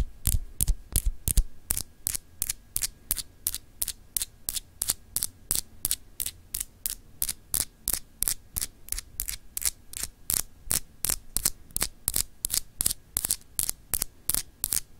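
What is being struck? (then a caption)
Small solid glass globe paperweight. Long acrylic nails lightly scratch a small, solid, clear etched glass globe paperweight in quick, unevenly spaced strokes. Each stroke gives a short, bright, dry scratch that dies away almost at once. A steady low background hum runs underneath throughout.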